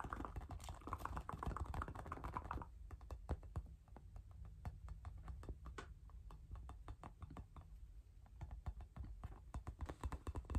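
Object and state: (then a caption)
Rubber playground ball tapped with fingertips and nails. A hand-sized, hollow, inflated pink rubber playground ball is held in one hand and tapped with the fingertips and nails of the other. Dozens of quick, light, dry clicks follow in an uneven, rapid patter over a low steady hum. A thicker midrange wash sits under the first few seconds, then the taps continue more sparsely and clearly.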